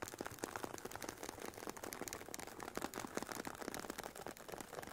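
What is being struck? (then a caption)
Semi-rigid headphone case with woven nylon cover. Long painted nails tap the top and scratch the woven nylon fabric sides of a hollow, oval, semi-rigid carry case for Sony WH-1000XM4 headphones. The result is a quiet, dense run of quick, dry clicks and ticks mixed with scratchy rustling, centered in the midrange with little low end. Each tap dies away almost instantly.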